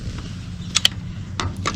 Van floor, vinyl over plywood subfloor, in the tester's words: it sounds solid to me like walking into a wooden floor with dress shoes